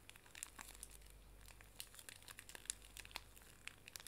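A small, full pink pocket tissue pack wrapped in plastic film is squeezed, bent and crinkled in both hands with long nails. Quiet, bright crinkling runs throughout, broken by many sharp, high clicks and snaps over a faint low hum.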